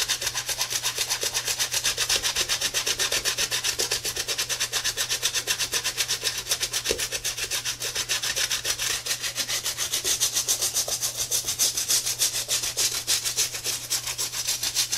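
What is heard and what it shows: A tie-dye Adidas sneaker is turned over and its treaded rubber outsole is scrubbed with a wet, soapy brush held in a gloved hand. Rapid back-and-forth brush strokes, roughly four per second, make a bright, hissy, wet scratching sound over a faint low steady hum.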